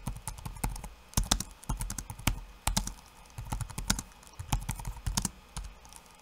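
Bare fingertips type rapid taps on a backlit laptop keyboard with plastic keycaps. Short, sharp clicks come in quick bursts with brief pauses between them, each combining a low thud with a bright tick that stops almost instantly.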